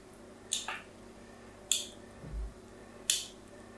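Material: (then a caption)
Soap. A solid pink "Absolut" bar of soap held in the hand has its edge scratched with a metal tool three times, each a sharp, bright, crisp scrape that fades within a fraction of a second. A soft, low thump is heard between the second and third scrapes over a quiet background.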